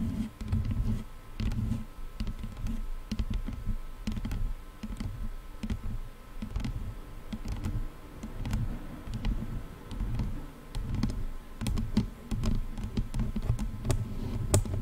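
Long fingernails on both hands tap the padded plastic and leatherette headband of a pair of over-ear headphones. The result is a steady stream of quick, soft, muffled taps and clicks, heavy in low thuds with only faint sharp ticks on top.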